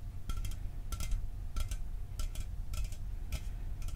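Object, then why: Aluminum drink can. A hollow, caffeine-free Mountain Dew aluminum can is held up and tapped with fingertips and nails. Quick bursts of light, bright, clicky metallic taps come in small clusters at a steady pace, each dying away almost at once. A constant low rumble sits underneath.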